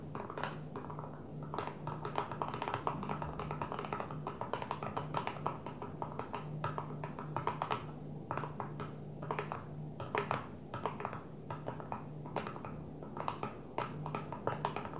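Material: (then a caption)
Plastic. Long nails on both hands tap quickly on a flat blue plastic container lid resting on a table. The taps are fast, dry, overlapping clicks with a plasticky tone around 1.1 kHz that stop almost at once. A steady low hum sits underneath throughout.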